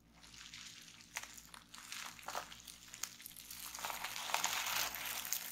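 Fingers grip, twist and pinch a sheet of clear plastic bubble wrap to pop the bubbles. Bright crinkling and rustling of the plastic is broken by sharp, snappy pops at an uneven pace. The crackle grows denser and louder toward the end.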